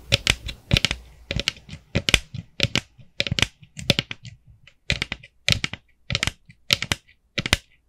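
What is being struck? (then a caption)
Plastic jack-o'-lantern bucket. Long nails tap the top and sides of a small hollow orange plastic jack-o'-lantern bucket with a black handle, producing quick, dry clicking taps in uneven clusters. The taps are bright and crisp with a faint hollow low thump beneath, and each dies away almost instantly.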